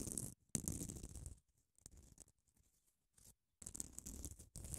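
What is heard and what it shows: Long acrylic nails scratch across a small grey solid foam nail buffer block with a grit-coated abrasive surface close to the mic. The result is bursts of dry, rasping scratching with a bright, hissy top and a low rumble, broken by short silences and quieter scraping in between.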